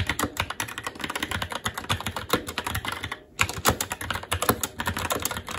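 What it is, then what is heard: Plastic mechanical keyboard. Fast, continuous two-handed fingertip typing on a SteelSeries Apex 7 TKL mechanical keyboard, with plastic keycaps on a metal top plate and Red linear switches. It makes a dense stream of short, bright plastic clacks with soft low thuds beneath. There is a brief pause just after the three-second mark before the typing resumes.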